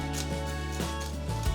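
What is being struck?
Nothing is struck.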